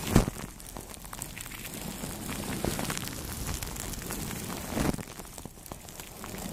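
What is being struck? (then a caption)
Plastic cling film wrapped over a microphone. Two soft brushes rub over clear plastic cling film wrapped on a microphone head. The result is a steady low crinkling, rustling texture with two louder crackly swells near the start and toward the end.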